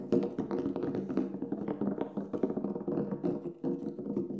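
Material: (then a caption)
Synthetic membrane. Fingertips tap rapidly and unevenly on the black synthetic head of a large, hollow Remo Buffalo frame drum lying flat with its head up. The taps are soft and quick, each giving a short, dull thump with a hollow low-mid tone that dies away almost at once. The tapping keeps up steadily through the whole clip.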